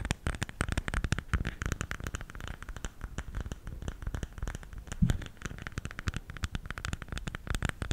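A round bamboo salt container is held lid-forward in both hands while fingertips and nails tap and scratch its lid. Rapid, dry clicking taps mix with soft scratchy rubbing, each tap short and quickly damped with a low, hollow body. The busy tapping runs steadily throughout, with a slightly louder knock near the middle.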